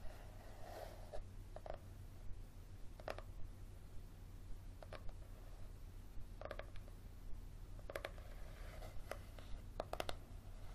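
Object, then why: Softcover book with leathery cover. A small, thick yellow paperback with a solid leathery cover is tilted in one hand while fingernails tap and scratch across the cover. Short, dry clicks and brief scraping strokes come at an uneven pace, each with a faint midrange tone and almost no ring, over a steady low hum.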